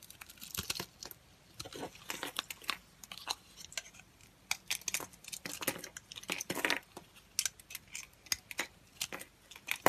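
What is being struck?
Bar of soap cut with a knife blade.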